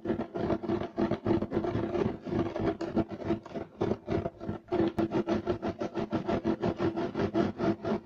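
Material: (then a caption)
Woven fiber. Fingernails on both hands scratch fast across a beige striped loop-weave woven fiber carpet. The result is a continuous run of rapid, rough scratching strokes, about three per second, with a dry, crackly texture centered in the low-mid range and little bright ring after each stroke.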